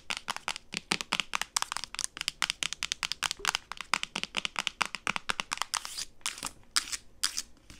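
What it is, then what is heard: Plastic bottle. A medium-size, hollow white and blue plastic solution bottle with a printed label, held horizontally, is tapped and scratched with long acrylic nails. Rapid, bright clicking taps run throughout with almost no ring, giving way near the end to a few longer, hissing scratches.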